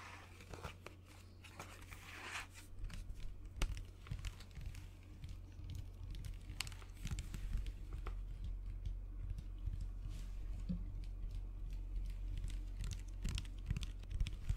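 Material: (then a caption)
Plastic. Fingernails tap and scratch the plastic body of a white plastic lotion bottle held close to the mic. Quick, irregular bright clicks and crinkly scratching run over a steady low hum.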